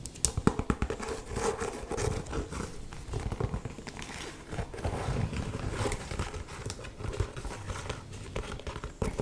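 An old, worn, brown leather walking boot, hollow and empty, is held in the hand and scratched and tapped with long painted nails along its upper and sole. The result is a dense run of crinkly, rustling scratches mixed with short, dull taps. The sound is mostly low and muffled, with almost no ring.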